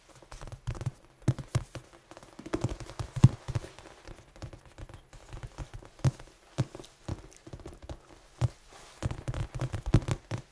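A large red foam die is held and turned in the hands while fingertips and nails tap on its faces. The result is a steady run of soft, dull, low taps with very short decay and little high-end content. Occasional sharper clicks stand out among them.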